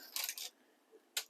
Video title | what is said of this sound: Cooking with Violet Vixen episode 278 damper for ploughmans lunch | if you knock on them they should sound hollow